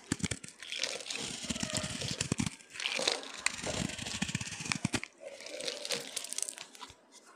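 A utility knife blade cuts and scrapes crunchy slivers off a solid orange bar of dry soap, already partly carved and held in the palm. Dense, bright crackling and crunching scrapes come in bursts with brief pauses around the middle and just before the end.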